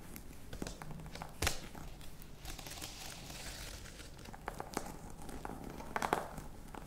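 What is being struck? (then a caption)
Faux leather-covered box. Long nails scratch the textured front of a flat, hollow black box covered in embossed faux-crocodile leather, making a soft, crinkly rasp with scattered sharp clicks. Louder ticks stand out near the start and end over a steady, quiet scratching texture.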